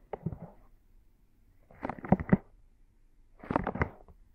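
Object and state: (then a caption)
Silicone microphone ears being rubbed. Soft silicone binaural microphone ears are held between both palms and fingers and rubbed in a massaging motion. Three quiet, muffled bursts of rubbing and squishing are heard, each made of quick soft pulses and heavy in low tones, separated by near silence.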